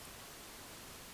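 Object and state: Nothing is struck.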